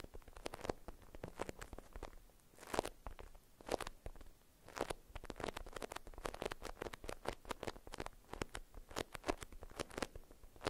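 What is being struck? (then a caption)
Beeswax-coated cotton food wrap. Long acrylic nails scratch a printed beeswax-coated cotton food wrap folded around a small bar-shaped item held in both hands. The result is a rapid run of short, dry, crackly scratches and crinkles with brief bright bursts and no ring.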